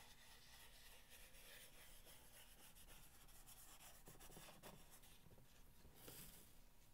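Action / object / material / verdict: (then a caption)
scrape / corrugated cardboard box / cardboard / none. Fingernails scratch and rub the top surface of a long, hollow corrugated cardboard box. A steady, quiet, papery rasp runs throughout with a bright, grainy texture, and a few slightly louder scrapes rise near the middle and end.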